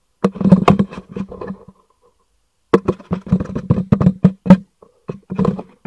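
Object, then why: Cardboard box. A hollow black cardboard packaging box is held upright and knocked and tapped with the fingers, giving quick dull thuds with a low hollow resonance near 190 Hz that die away almost at once. The taps come in two bursts of rapid, uneven tapping, separated by a pause of about a second.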